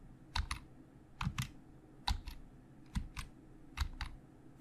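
Fingertips of both hands type on a hollow black plastic Logitech keyboard, giving 11 short, dry key clacks in loose pairs at a slow, uneven pace. Each press has a low thump and a bright click that stops almost at once.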